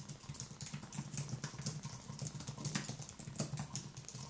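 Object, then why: Low-profile keyboard with plastic keys on an aluminium base. One hand types rapidly with the fingertips on a thin Apple wireless keyboard with white plastic keys on a low aluminium base, resting on a wooden desk. A quick, steady stream of light, bright clicks and tapping carries over a soft low hum, with each keystroke dying away almost instantly.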